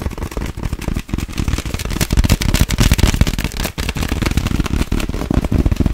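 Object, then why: Thin clear plastic bag. An empty clear plastic sleeve bag, stretched between both hands, is tapped and scratched quickly and aggressively with long acrylic nails. The result is a dense, continuous stream of sharp, crackling taps with a heavy low-frequency thump and very short ring.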